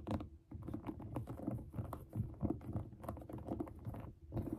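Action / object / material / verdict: scrape / suede sneaker upper with mesh panel / suede / none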